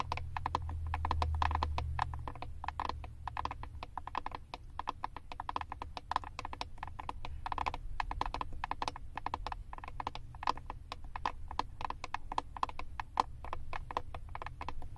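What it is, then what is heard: Plastic eyeshadow palette. Long acrylic nails tap and scratch the back of a Wet n Wild "Always Naked" eyeshadow palette, a flat, hand-sized plastic compact with a paper label. A rapid, steady stream of short, dry clicks centred around 1 kHz continues for the whole clip, with light scratching between the taps over a low, steady rumble.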